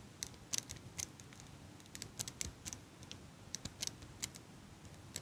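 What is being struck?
Metal eyelash curler.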